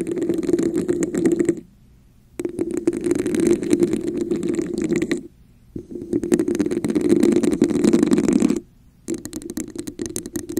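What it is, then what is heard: Textured plastic cup tapped and scratched. Long nails tap and scratch the sides of a red, hollow, textured plastic cup held over a microphone, using both hands. Dense, rapid clicking and scratchy friction come in four bursts separated by brief silences, with a hollow, boxy resonance in the low-mid range beneath a bright, crackly texture.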